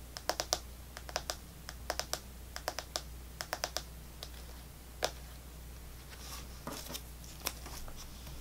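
An Extra chewing gum pack with clear plastic blister bubbles over a cardboard/foil back, some gum still left, is held in the hands and tapped rapidly with long fingernails on the plastic bubbles. Short, bright, clicky plastic taps come in quick clusters, with a soft crinkly scratching near the end. A steady low hum runs underneath.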